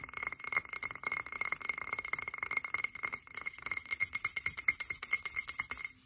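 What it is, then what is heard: Glass jar tapped with nails. Long acrylic nails rapidly tap a frosted blue glass cylindrical candle jar held in both hands, producing a dense run of bright, glassy clinks. The sound is thin and high with almost no low end, and each short tick dies out almost instantly.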